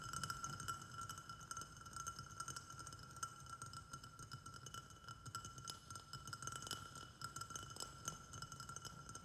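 Fingertips and nails tap quickly on both sides of a small white glazed ceramic flower pot that sits on a saucer and holds soil and a snake plant. The taps form a dense, quiet stream of clinks with a steady ringing tone near 1.4 kHz, bright high overtones and a soft low body. Each tap fades quickly.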